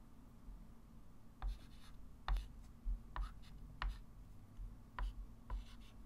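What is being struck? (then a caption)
Chalk stick on a wood-framed chalkboard. A white chalk stick writes and draws long lines on a small, solid, flat wood-framed chalkboard, rubbing and scratching across the surface. About seven short, bright chalk strokes stand out irregularly over a steady low hum.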